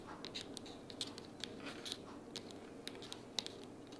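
Long purple natural nails tap and scratch along the sides and edges of a closed pink printed cardboard sticky-notes organizer box lying flat on a wooden table. The result is a quiet, irregular series of short, crisp, bright clicks peaking near 3.9 kHz, each dying away almost instantly, over a soft, dry scratching texture.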